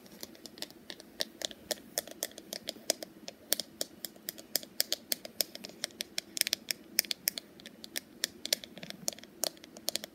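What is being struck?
Wooden paddle hairbrush.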